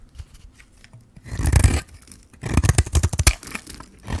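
A metal blade scrapes shavings off a hand-held, solid white bar of dry soap with a pink rim. A quiet start gives way to one long, gritty, crunching scrape, then a run of short, quick scrapes with dry, bright crackle over a low, rough rasp.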